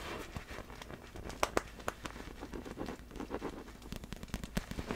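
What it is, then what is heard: Inflatable vinyl ball, tapped with fingernails. Long black fingernails tap on the top surface of a large, hollow, clear vinyl inflatable glitter ball resting in front. The result is a steady run of quick, dry, crackly taps that die away almost at once, with a few sharper, louder clicks standing out over a soft, rustling background.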